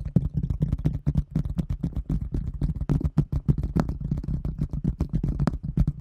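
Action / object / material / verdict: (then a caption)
tap / thin translucent plastic container lid / plastic / none. A large, round, thin translucent plastic container lid, held in both hands, is tapped and scratched with long fingernails. A rapid, steady run of short taps sounds as dull, low thumps, each with a brief bright click on top that dies away almost at once.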